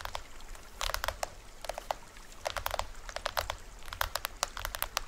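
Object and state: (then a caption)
Plastic toy drum. Fingertips and nails tap on the top head and rim of a small hollow plastic toy drum with a green plastic rim, printed white shell and white cords, held upright in both hands. Quick, dry clicks and taps come in irregular clusters, each dying away almost instantly, over a steady low rumble.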